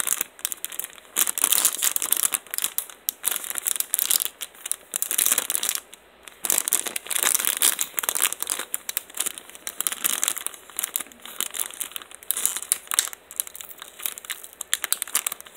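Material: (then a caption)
Plastic film. Fingertips of both hands crinkle and squeeze a small, thin, clear cellophane-style retail bag with a hang-tab header that holds a folded black fabric Parblo two-finger glove, then pick at and peel open its sealed top. Bright, dry crackles and short tearing bursts come from the plastic film in dense clusters with brief pauses between them. The sound sits almost entirely in the high range, with no low-end body.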